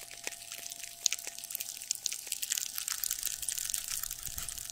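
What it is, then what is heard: Padded nylon fabric pad. A soft, padded, black shiny nylon or satin fabric pad about a hand-width long is held in both hands above the microphone while fingertips scratch, squeeze and crinkle it. The result is a quiet, continuous stream of bright, crisp rustling and scratchy crackles, with occasional sharper ticks over a faint steady tone.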